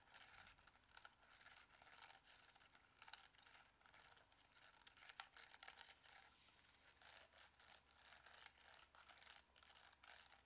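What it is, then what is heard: Plastic calculator. Fingertips repeatedly press and tap the buttons of a Casio plastic scientific calculator held in front of the body with its screen lit. The result is a quiet, steady stream of short, bright plastic clicks and scratchy crinkling textures, almost entirely high in pitch with very little low end.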